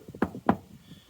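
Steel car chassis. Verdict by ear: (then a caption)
Solid. Two solid knocks on the steel chassis of a Corsa B car, struck as a reference against the empty fuel tank. Each knock is short and dull with a low-mid thud around 220 Hz that dies away almost at once, sounding solid rather than hollow.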